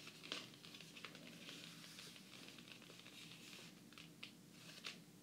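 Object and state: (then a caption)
Hardcover book with glossy cardboard cover. Both hands tap fast in a typing-like pattern with long painted fingernails and fingertips across the glossy laminated cardboard cover of a large, closed hardcover fairy tale book lying flat. The result is a quiet, dense patter of bright, crisp clicks and light crinkly scratches, with a few sharper nail taps standing out.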